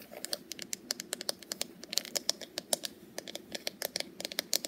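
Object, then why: Wooden paddle hairbrush. Long purple nails tap quickly on the wooden back and handle of a small, solid wooden paddle hairbrush with wooden pins. The result is a fast, irregular patter of bright, dry clicks, each dying away almost instantly, with almost no low end under a faint background hiss.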